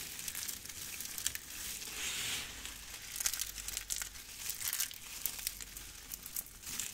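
Hands with long red nails grab, press and crush handfuls of a pile of brittle, dry pink and yellow soap shavings. The result is a dense, bright, crunchy crumbling and crackling with short, sharp snaps and almost no low end.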